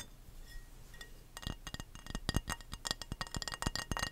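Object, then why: Glass baking dish. An empty, hollow, rectangular clear glass baking dish is held in both hands near the mic and tapped with the fingernails. After a quiet first second, a quick, irregular run of short, bright clinking taps follows, each dying away almost at once.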